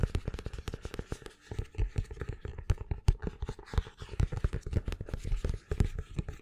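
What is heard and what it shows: Fingertips and nails scratch and tap the card spine and cover edges of a paperback book held upright. The result is a dense run of short, dry taps and scratches with very little ring. The sound is mostly low and thuddy, with scattered brighter scratchy clicks.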